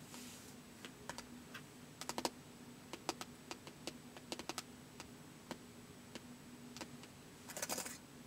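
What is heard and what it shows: Fingertips press the plastic keys of a white polycarbonate laptop with a hollow body in slow typing, giving about twenty-two short, dry, bright clicks. The clicks come one at a time and sometimes in quick clusters over a faint steady low hum. Brief bursts of bright hiss rise at the start and near the end.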